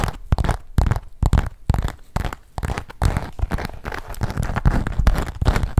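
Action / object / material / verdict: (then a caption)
tap / perforated leather zip-around wallet / leather / none. A small, hollow black leather zip-around wallet with a perforated pattern is held in the hands and tapped and scratched with long nails. Rapid, irregular dull taps and thumpy knocks mix with crackly scratching. The sound is heavy in the low end and dies away instantly with no ring.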